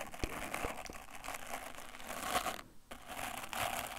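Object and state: Wooden bristle brush.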